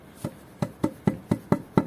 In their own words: you can tell now that the foundations are solid you can hear that when tapping it with a piece of wood